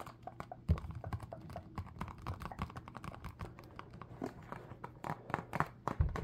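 A small, hollow rectangular cardboard UNO card box, filled with cards and held in both hands, is tapped rapidly with fingertips and nails. The result is a steady stream of quick, dull, clicky taps with a muffled low thump and very little ring, plus a few louder knocks.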